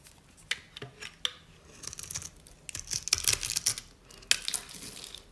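A solid rectangular bar of dry cream soap, held in the hand, has its grid-scored surface scraped and crunched into small cubes by a metal blade. The result is a rapid series of about fifteen dry, bright crunches and scratchy scrapes, with almost no low end. The crunches cluster densely in the middle of the clip.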